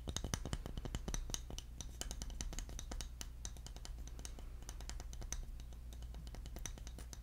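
A palm-sized, solid round bamboo lid with an engraved logo is held in one hand and tapped quickly with the fingernails of the other. Many short, dry clicking taps overlap over a steady low hum.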